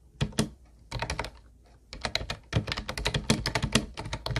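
Both hands type with their fingertips on a hollow teal plastic Ubotie keyboard with round white plastic keys. Quick, bright, clacky keystrokes come in uneven bursts separated by short pauses, each with a hollow low thunk beneath it.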